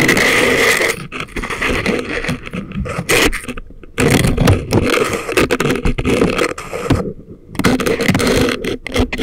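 Thin wooden or bamboo ear picks held in the fingers scrape inside the canals of both ears on a pair of soft, solid, rubbery life-size silicone ear models that serve as a binaural microphone. The result is a close, dense stream of crackly scratching and rubbing with a bright, hissy edge and muffled low thumps. It pauses briefly a few times before resuming.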